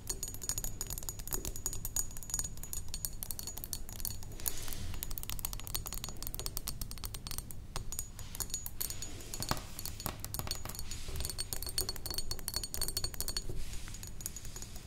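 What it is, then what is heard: Glass perfume bottle. Long acrylic nails tap rapidly and continuously on a medium rectangular thick glass perfume bottle, partly filled with liquid, with a pink cap and a metal neck. Each tap gives a short, bright glassy click with a high ringing tone, over a steady low hum throughout.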